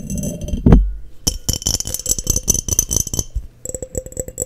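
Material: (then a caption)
Glass. Long nails tap the body of a clear, hollow, empty glass mason jar held in hand. A low thump comes early, then rapid, bright clinking taps with a short high ring follow in quick bursts, ending in a steadier run of lighter ticks.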